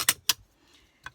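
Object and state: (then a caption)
Glass work plate, loud clatter when struck. A ruler is set down on a glass craft work plate, making two sharp, bright clacks followed by a softer tap near the end. Each sound is short, with almost no ring and little low end. The plate is practical to clean but very noisy when things are put down or dropped on it.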